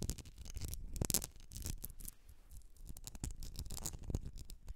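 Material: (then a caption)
Glass. Long nails scratch and tap the sides of a medium etched glass candle jar filled with solid wax. The result is a quiet, steady run of dry scratching with soft low thuds and bright, crisp ticks that stop short with almost no ring.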